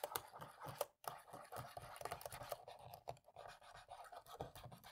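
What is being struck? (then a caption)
Plastic laptop keyboard keys. A cotton swab scratches between the black plastic keys of a dirty laptop keyboard to clean it, with the other hand resting on the palm rest. Quiet, rapid scratchy rubbing and small dry ticks repeat throughout, with a brief silence just before the one-second mark.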